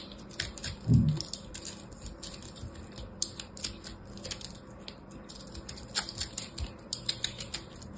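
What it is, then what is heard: Crushed soap ball. A small solid ball of pressed blue and purple soap chips, held in the fingers, is cut with a small black blade. It makes a dense run of quiet, crisp crackles and ticks, with a louder, low crunch near the start as the blade bites in. The clicking is short and dry, with bright edges and little ring.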